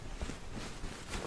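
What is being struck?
Nothing is struck.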